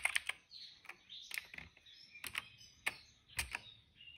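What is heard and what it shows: Fingertips type on the keycaps of a plastic retro mechanical keyboard resting on a rug. The result is a scattered run of sharp, bright, clacky keystrokes that stop dead, with almost no low end. Faint high-pitched tones linger between the key presses.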